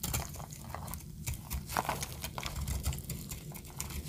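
A small metal blade cuts and scrapes thin flakes off a palm-sized, solid pink marbled bar of dry soap held in one hand with long decorated nails, and the shavings fall onto a pile below. The sound is a quiet, steady run of short, crisp scraping and crackling ticks with bright high edges over a soft low rumble.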